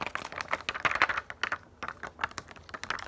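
A sheet of plastic pop-up dome stickers is held upright in both hands while long nails tap and scratch across the domes. The result is a rapid, uneven run of short, crisp plastic clicks and ticks, bright with almost no low end, mixed with faint scratchy rasps between the louder taps.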